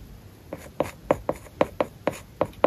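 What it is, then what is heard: Stylus writing on a tablet with matte paper-like film. A plastic stylus writes characters on an iPad lying flat and covered with a matte, paper-like plastic film, making about ten short, dry taps and scratches. Each stroke is brief and clicky, centered around 500 Hz, with almost no low end and no ring after each touch.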